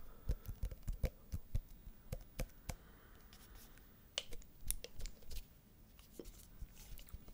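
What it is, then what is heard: Cardboard box tapped with fingertips. A small, elongated, hollow white paperboard product box is held horizontally over the mic and rapidly tapped with the fingertips of both hands. The taps are dull, low, hollow thuds with short, crisp clicky tops that die away almost instantly. They come in quick irregular bursts, with a quieter, softer stretch of rustling in the middle.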